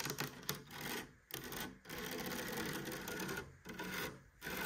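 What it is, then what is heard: Rattan cane cabinet door. Long nails scratch and tap across the woven cane mesh of a rattan cabinet door with a light wood frame on a hollow cabinet. The result is a dry, raspy rustling with clicky taps that runs almost continuously, broken by a few brief quiet pauses.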